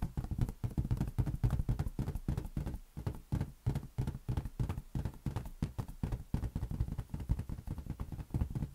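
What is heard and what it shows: A large, hollow, inflated green latex balloon is cradled in the hands and tapped rapidly with the fingertips. It gives a steady stream of dull, deep thumps that stop almost instantly, with a soft bright tick on each touch.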